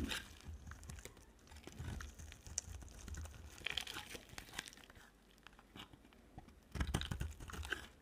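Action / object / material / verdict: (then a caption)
scrape / bar of soap / soap / none. A utility-knife blade carves along the edge of a solid green-and-white striped bar of dry soap, giving a run of dry, crunchy scrapes and crinkly shaving sounds with a dull low body and bright, gritty edges. The carving eases into a quieter, sparser stretch midway, then returns in a louder burst of scraping near the end.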